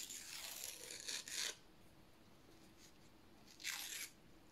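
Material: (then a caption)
Paper. Fingertips slowly tear a narrow strip of thin white printed paper lengthwise while holding it vertically. Soft, bright, crackly tearing builds through the first second and a half into louder rasping bursts. After a quiet pause, one more short, bright rip follows near the end.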